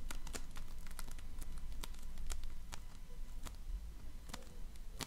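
A donut-shaped ring of floam, slime packed with polystyrene foam beads, is pressed with fingertips and nails. It gives scattered sharp, bright crackles and pops over a steady low rumble.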